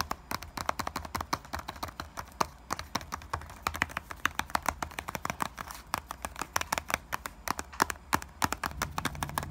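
Fast fingertip and nail tapping on the top of a small printed Knorr cardboard box of bouillon cubes, likely full, resting on a stone counter. Dozens of quick, dry, papery taps with a hollow mid-range knock and bright clicky edges sound in an uneven stream over a faint low hum. Each tap stops dead with no ring.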